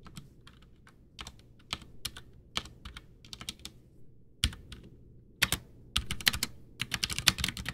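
A full-size white plastic mechanical keyboard, a backlit Ducky One 2 with Cherry MX Brown switches and a hollow case, sits on a desk while both hands type with their fingertips, pressing and tapping keys. Short, bright clacks land in an irregular rhythm, sparse at first and then quickening into a denser burst of keystrokes near the end. Each click dies away almost instantly over a faint low hum.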